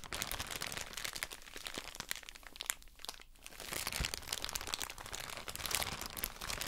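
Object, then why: Soft plastic bag of cotton pads. A soft plastic drawstring bag full of cotton wool pads is squeezed and crinkled with fingers and long nails. Dense, bright crackling and crinkling crunches come in quick bursts, ease off briefly in the middle, then build again.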